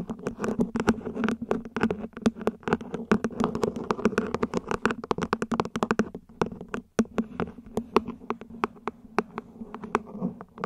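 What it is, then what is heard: Ribbed plastic plant pot. Long nails tap and scratch the ribbed sides of a small, hollow, mint-green plant pot, probably plastic, set upside down. Dozens of quick, dry, clicky taps with almost no ring fall in uneven bursts over a soft, steady low hum and a light scratchy rustle. There is a brief pause around the seven-second mark before the tapping resumes.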